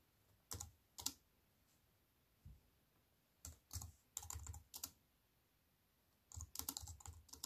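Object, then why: Slim aluminium and plastic keyboard. Long white nails tap slowly on the plastic keys of a slim aluminium and plastic wireless keyboard. Crisp, bright clicks come in scattered bursts with soft low thuds and quiet pauses between them. A denser flurry of keystrokes closes the clip.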